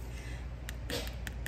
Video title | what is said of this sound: Bruschetta forgetaboutit | how it sounds full now like it doesn't sound hollow